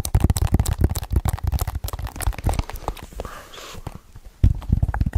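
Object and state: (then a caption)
Plastic DVD case. A hollow hard plastic DVD/game case is held up close to the microphone and tapped fast with fingertips and nails. The taps come as quick, uneven, clip-clop-like knocks with a deep, hollow thump. They ease into quieter, softer scratching in the middle, then pick back up into rapid tapping at the end.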